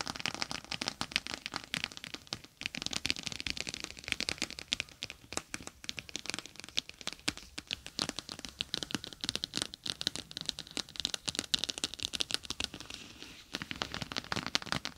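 Long nails tap and scratch across a plastic gel bead eye mask, a clear plastic pouch full of gel beads with a green fabric rim, resting on top of a microphone, pressing into the beads. The result is a dense, irregular stream of bright, crinkly crackles and short crunchy taps, with brief lulls near 2.5 and 13.5 seconds.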